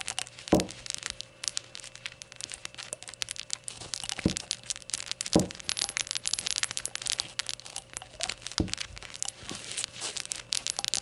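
Long nails scratch and tap the glaze of a small, hollow, rainbow-glazed ceramic shot glass as it is handled to show its white base and then stood up. The result is a dense stream of bright, dry scratching and quick clicks with very little ring, broken by a few louder knocks with a low thump.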